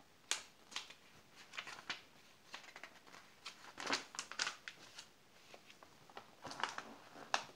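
Pages of an open glossy paper magazine are flipped while the fingers of both hands rub and smooth the glossy spread. The result is a quiet run of sharp, bright paper crackles and soft swishes with almost no low end. Each sound dies away almost instantly.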